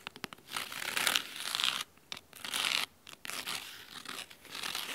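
Fingernails scratch the red cloth spine of a large, thick, solid hardcover book covered in red fabric. The sound is a dry, bright, crisp scratching that comes in bursts of strokes separated by short silent gaps, with almost no low end.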